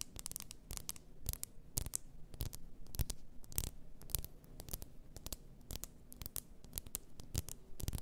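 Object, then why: Glass bottle of bath salt. Long nails tap and scratch the upper body and label of a large, apparently glass, bottle full of pink bath salt. Sharp, bright clicks arrive in a quick, uneven rhythm over a dull low body, with soft scratching filling the gaps between taps.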